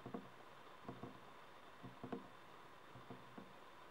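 Fingertips and nails tap and scratch around the stem of a small, glowing, mushroom-shaped plastic LED night light made of hollow, frosted translucent plastic. Soft, hollow, low-pitched taps come at irregular intervals and die away quickly. A faint steady background tone lies underneath.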